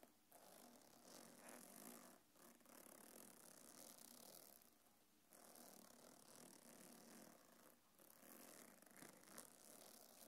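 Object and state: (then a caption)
Faux-leather belt bag with metal chain. A small black quilted faux-leather belt bag with a gold metal chain strap rests on a lap while long painted nails scratch and tap over the leather and the chain near the zipper. The result is a steady, soft, bright scratching texture with quick light taps and faint metallic clicks, broken by a few brief quieter gaps.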